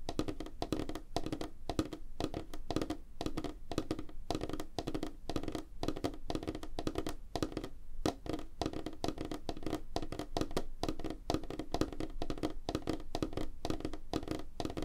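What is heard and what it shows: Fingertips and nails of both hands tap rapidly on a flat, solid, light wooden tabletop. The result is a steady, dense stream of short, dry knocks with almost no ring. The sound is mostly low and woody, with a hollow tone around 310 Hz and faint clicky edges from the nails.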